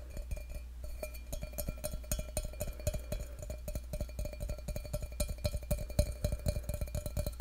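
Fingertips and short nails tap rapidly and irregularly on the outer wall of a hollow, empty stainless steel tumbler held close to the mic. The taps are short, light clicks with a faint metallic ring around 600 Hz, over a steady low hum.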